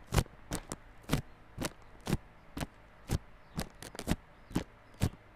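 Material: Cardboard.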